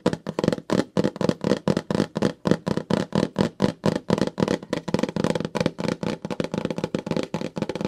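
Fingertips and long nails tap and crinkle the surface of a glossy pink plastic Ipsy mailer pouch, held flat in both hands with its contents inside. Thirty-three quick, dry tapping hits sound in a fast, uneven rhythm, each with a soft plastic crinkle and almost no ring.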